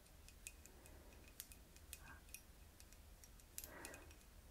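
Long red-painted fingernails tap on the glass around the narrow neck of a small, round-bottomed clear glass flask partly filled with golden oil, held in one hand in front of hair. The result is a quiet series of sharp, bright, clock-like ticks with short ringing tails over a steady low hum, with a couple of softer rustling swells between the taps.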